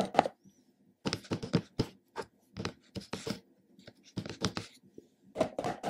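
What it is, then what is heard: Plastic supplement jar lid being tapped. Fingertips of both hands tap and drum on the black plastic lid of a hollow, medium plastic supplement jar. The result is quick clusters of short, dry, hollow knocks with brief pauses between bursts, each tap dying away almost instantly.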